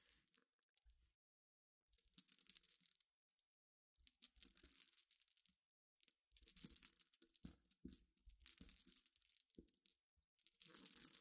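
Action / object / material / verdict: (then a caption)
scrape / pile of flat glass pebbles / glass / none. Long nails rake and scratch across a pile of clear, flat, solid glass gems resting on black fabric. Bursts of bright, dry clicking and gritty rattling come in quick, closely packed strokes, separated by short silences. The sound is quiet and mostly high, with little low end.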